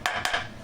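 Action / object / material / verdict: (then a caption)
tap / ceramic floor tile / ceramic / hollow. Three quick taps on the problem spot of a ceramic floor tile give bright, hollow clicks with a short ring near 1.7 kHz. The tile no longer moves, but the spot still sounds hollow because the glue did not penetrate far enough, so the tile would have to be removed to fix it properly.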